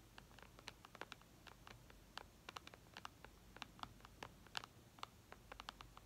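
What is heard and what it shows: Long red nails tap rapidly on the glass screen of a flat white iPad, making about thirty short, dry clicks in an irregular patter. Each tap is crisp and bright, centred around 1.4 kHz with high overtones, and stops instantly with no ring over a faint background hiss.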